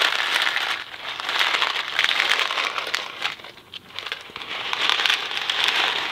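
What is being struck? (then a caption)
Cardboard box of dry pasta. A small Kraft macaroni and cheese cardboard box filled with dry pasta is held in one hand, then shaken and tilted. It makes a dense, bright rattle and crinkle of hard pasta hitting the cardboard, with almost no low end. The rattling fades briefly in the middle, then picks back up.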